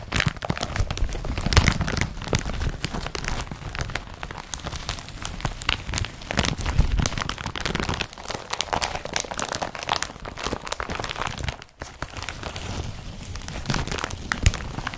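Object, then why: Empty woven polypropylene carrier bag. Fingertips rub and scratch the crumpled fabric of an empty blue woven polypropylene IKEA BRATTBY carrier bag. The result is a dense, continuous crinkling and scratchy rustle with a heavy low rumble and bright crackles, broken by a brief quiet gap near the end before the rubbing resumes.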